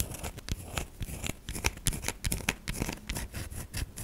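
Long nails dig into and scratch the soft surface of a solid white soap bar held in both hands. The result is a rapid series of short, dry scraping and crackling bursts with bright, crisp detail over a soft, low thud.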